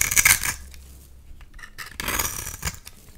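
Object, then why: Bar of soap. A utility knife blade scrapes and carves fine shavings off the surface of a solid oval bar of orange soap held in one hand. A bright, crisp scraping burst opens the clip, fades to faint rustling scratches, then a second dense scrape rises before trailing off.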